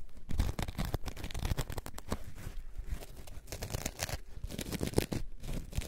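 A coarse orange foam sponge block is scratched with long nails. Dense, rough scratching and crackling textures come in rapid, overlapping strokes, with most of the energy in a low, muffled rumble and only a faint bright edge.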